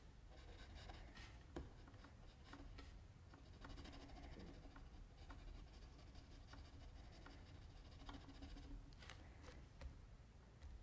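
A mechanical pencil scratches fine strokes near the chin of a drawing on a sheet of flat white drawing paper, with the left hand holding the sheet. Soft, steady scratching and rubbing runs through the clip over a low background rumble, with a few sharper, brighter ticks standing out. The strokes stay quiet and close throughout.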